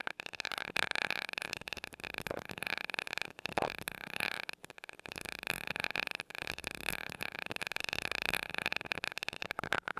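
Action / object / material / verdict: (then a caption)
tap / small metal mesh microphone grille tapped with a glass rod / metal mesh / none. A glass rod taps rapidly on the small gold metal mesh grille of a mini microphone. It makes a dense stream of quick, bright ticks with almost no ring, over a steady high-mid tone and very little low end. The tapping pauses briefly a few times.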